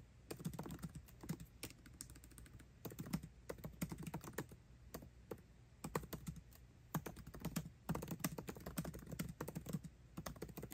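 Fingertips type fast on a MacBook Pro keyboard with plastic keycaps in an aluminum body. Quick, dense bursts of short clicking taps carry a soft low thud under each key and die away almost at once. Brief pauses separate the bursts.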